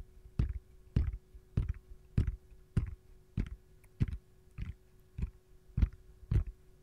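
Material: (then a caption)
Silicone. Long gold-painted nails tap and scratch the back of an empty, hollow, palm-sized round yellow silicone ice cube tray shaped like a lemon slice, which has a central hole. Eleven soft, dull, low thuds land at a steady, unhurried pace, each with a brief scratchy edge and almost no ring, over a faint steady hum.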